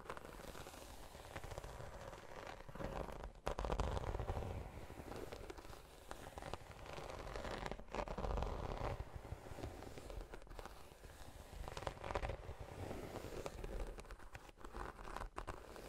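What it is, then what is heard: Croc-embossed faux leather tote. Long nails scratch the textured surface of a large black croc-embossed faux leather tote. Dry, crackly scratching and rustling come in uneven bursts over a soft, low rumble. A few louder swells stand out around 3.5, 8 and 12 seconds.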